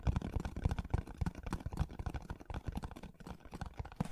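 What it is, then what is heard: Cardboard box. Fingernails scratch and tap on the surface of a hollow kraft cardboard box held upright in front of the microphone. They make a quiet, irregular run of dull, low, hollow knocks mixed with dry scratching. Each tap dies away almost instantly, with very little brightness.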